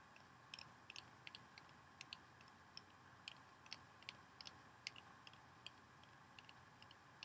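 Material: Soap.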